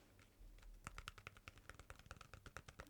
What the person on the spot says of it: This one is plastic. This is a plastic tub of metallic foam clay.